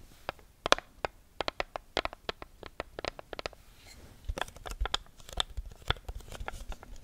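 Long nails riffle and scratch the edges of the sheets on a small neon-yellow paper sticky note pad held close to the mic. A quick run of sharp, bright papery flicks and ticks gives way to a denser, scratchier crinkling rustle in the second half.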